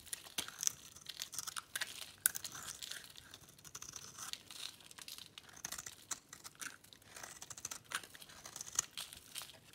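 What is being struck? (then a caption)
Bar of soap scraped with a metal blade. A metal blade scrapes and cuts crisp flakes from a solid bar of dry pink soap held in the hand, the flakes falling onto a checked cloth. A quiet, dense run of bright, dry scraping and crackling crunches, with short sharp snaps and almost no low end.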